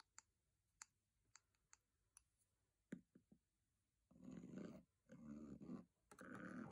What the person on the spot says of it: Asmr : Tapping, Scraping and Brushing Metal Box